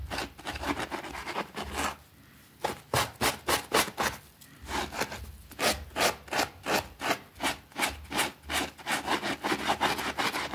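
A small, thin green fabric rug with a rabbit print, soapy and lying on a concrete floor, is scrubbed vigorously with a white plastic brush. Quick, rhythmic bristle strokes make bright, wet swishing rasps that come in a dense run, pause briefly, then settle into distinct back-and-forth strokes.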